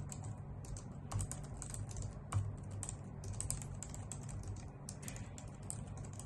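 Long nails and fingertips type on a white full-size plastic keyboard with hollow key caps, making a continuous stream of quick, bright clicking taps. A steady low hum sits underneath, and a few heavier taps stand out, around 1.2 and 2.4 seconds.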